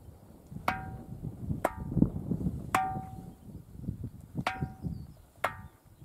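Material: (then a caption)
Granite. A large, solid granite erratic boulder with cup marks, resting on bedrock on Tiree and known as a ringing stone, is knocked on its side five times with a small hand-held stone. Each knock gives a sharp, bell-like metallic ring with clear tones that fade quickly, over a low, rumbling background.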